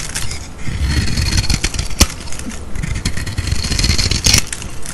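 A metal utility-knife blade scrapes and shaves thin curls of silver, foil-like paint off a solid rectangular white bar of soap held in the hand. It makes a steady, dense crackling scrape with a low, rough rumble underneath and bright, crisp grit on top. Sharper snaps stand out near the 2-second mark and again just past 4 seconds.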